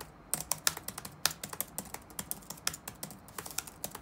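Fingertips of both hands type rapidly on the black plastic keycaps of a dark laptop resting on a wooden desk. About 26 short, dry, bright key taps come in an uneven rhythm with almost no ring. A faint low hum sits underneath.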